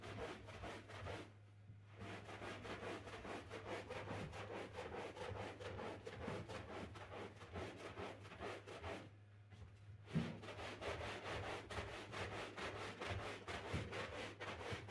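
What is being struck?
Synthetic rug scrubbed with a stiff-bristle broom.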